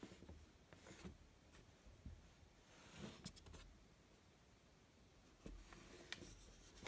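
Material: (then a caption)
Cardboard. Fingertips and nails rub and scratch across the top and sides of the closed, medium-size, hollow white cardboard outer box of an authentic post-2015 Rolex watch box with an embossed crown logo on the lid. Soft, quiet papery scraping over a low rumble is broken by several sharper, brighter scratches and clicks.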